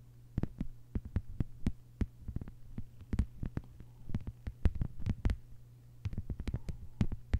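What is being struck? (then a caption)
Thin plastic cutting mat. Long white-polished nails on both hands tap a thin, solid, flat lime-green plastic cutting mat lying on a table. Quick, sharp, dry clicks come in irregular bursts and clusters over a steady low hum, each tap dying away almost instantly.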